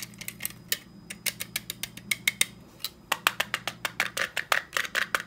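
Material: Plastic, metal.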